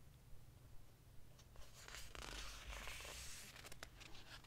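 Fingertips rub along the edges and surface of the glossy paper pages of an open hardcover book, staying on the same spread throughout. Soft, bright scratchy brushing and swishing strokes repeat irregularly over a quiet low rumble.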